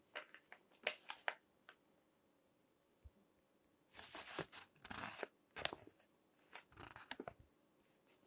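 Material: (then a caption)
Paper. Fingertips turn and crinkle the pages of a crinkled paper magazine lying on a table. Quiet, sharp, bright crackles come first, then longer bursts of rustling crinkle in the middle, then a run of quick crackles. Each sound stops almost at once with no ring, between near-silent pauses.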